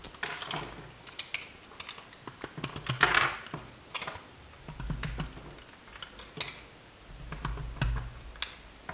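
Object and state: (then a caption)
Bar of soap being cut. A solid blue bar of soap, held in the hand, is cut with a metal utility knife blade, and the soap chips collect on the table. A rapid series of crisp, bright clicks and scraping slices is heard, with a burst of louder crunching around three seconds and soft low thuds underneath.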